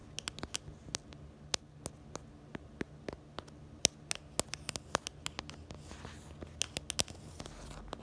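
Long nails tap on the black camera bumper and the back of a small pink plastic phone case. About two dozen short, sharp, bright clicks come in an irregular rapid series. Each one stops instantly over a faint steady low hum.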